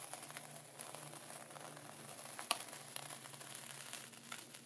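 A thin dark wooden pointer presses into and traces through coarse sea salt sealed in a clear plastic ziploc bag lying flat. The result is a steady, bright, gritty crunching and crinkling of salt grains shifting under the plastic. A few sharper clicks stand out, with one distinct snap near the middle.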